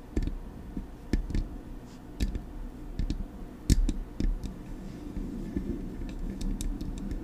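Long acrylic nails tap the front of a hollow, silver metal Blue Yeti microphone body. The result is a loose series of sharp, dry clicks with a dull low thump underneath, each dying away almost instantly, spaced irregularly over a steady low rumble. The taps grow lighter and quicker toward the end.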